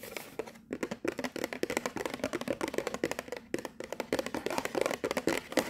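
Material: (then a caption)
Cardboard. A hollow, colorful printed cardboard box marked "From London" is held in the hands and tapped and scratched on its top and sides with long nails. Rapid, dry, hollow taps mix with scratchy rustling, each hit dying away almost at once, with a midrange tone and very little low end.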